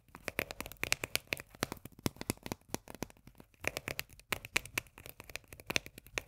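Long nails quickly tap and scratch a small, full, sealed steel can of sweet corn with a paper label, held in the hands. About thirty quiet, bright, clicky taps come in a rapid, uneven run, each with a brief tinny ring near 2.4 kHz that dies almost at once. Faint scratchy rustles fill the gaps between them.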